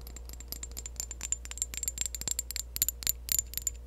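A partly full clear glass perfume bottle is tapped and scratched with long acrylic nails. The result is a rapid, irregular run of bright, tiny clicks and glassy ticks over a faint low hum, with each tap dying away almost at once.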